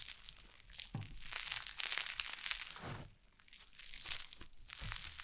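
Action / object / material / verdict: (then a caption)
scrape / cloud slime on a wooden table / slime / none. White cloud slime on a wooden table is pressed with fingertips and long nails, then lifted and pulled apart. It gives soft, dense, bright crinkling and crackling, like crumpling, with brief low thumps. A quieter lull comes midway before the crackling picks up again.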